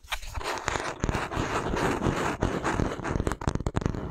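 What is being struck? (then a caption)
Wooden paddle hairbrush back. An oval wooden paddle hairbrush with a handle is held by the handle while fingertips and nails tap and scratch its smooth wooden back. Dense, dry scratching runs almost continuously with soft, low-weighted knocks beneath it. Toward the end it breaks into a quick run of sharp, separate taps that die away almost instantly.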